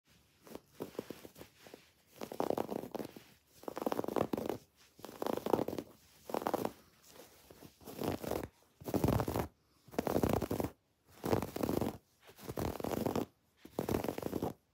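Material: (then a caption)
Fabric. Long dark-painted nails and fingertips scratch and rub a soft, stuffed, medium-size cream woven fabric throw pillow, held in the hands, with raised red and pink felt "XOXO" letters. Dry, rough scratching comes in short bursts of repeated strokes, separated by brief pauses. The sound is mostly in the mid range, with little deep or bright content.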